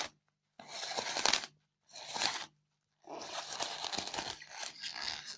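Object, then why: Polystyrene foam block. Long fingernails scratch the surface of a white polystyrene foam block covered in crumbled foam beads. The sound is a bright, dry, rasping scrape with a crinkly crunch, heard as two short passes followed by a longer continuous one.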